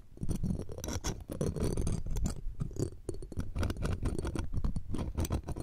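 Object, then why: Steel wire-mesh microphone grille scratched with metal tweezers. A bundle of metal tweezers scratches and taps the round steel wire-mesh grille of a pencil condenser microphone, producing close, dense scraping and rapid clicking taps. The sound is heavy and low with many short, quick-decaying hits and a faint bright metallic shimmer.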